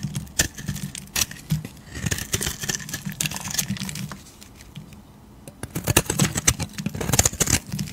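A metal utility blade shaves a solid, palm-sized, beige oval bar of soap, lifting curls off its surface. Crisp, bright scraping and crackling strokes come in quick bursts, fall quiet for a moment in the middle, then pick up again louder and denser.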